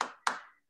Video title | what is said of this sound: Bloom Nutrition Series - Arepas ( reina pepiada) | does it make like a hollow sound? Yeah, and the sound gives the okay.